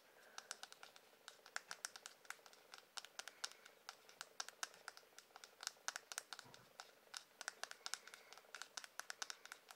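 Fingernails tap and scratch the handle of a light-coloured solid wood hairbrush. The result is a quiet, steady stream of crisp, bright clicks that die away almost instantly, with a faint scratchy texture between them.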